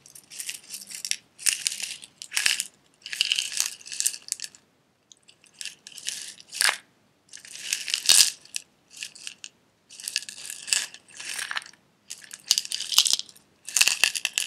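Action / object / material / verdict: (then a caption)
shake / glass jar with metal lid and loose pieces inside / glass / none. A small clear glass jar with a silver metal lid, holding loose red pieces, is turned sideways in the hands, tapped with fingernails and lightly shaken so the contents rattle. The result is a series of bright, crisp bursts of tapping and rattling, separated by short silences, with almost no low end and very short decays.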